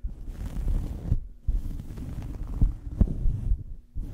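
A small fabric towel draped over a microphone is scratched and squeezed with the fingers of both hands. The result is a dense, muffled low rumble of rubbing and soft thumps, with almost no high end, broken by two brief near-silent pauses.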